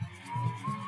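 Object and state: Nothing is struck.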